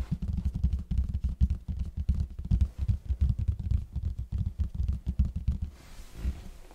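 Fingertips of both hands tap rapidly on the plain red side of a large, hollow cardboard box held in front of the mic. The result is a dense run of deep, hollow, drum-like thumps with very short decay and almost no high content. Near the end the tapping thins to a few softer thuds.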